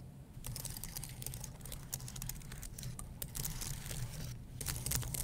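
Fingernails scratch and fingertips tap the plastic keys of a white low-profile keyboard on an aluminum base. Dense, bright, crackly scratching and clicking runs over a steady low hum, growing slightly louder toward the end.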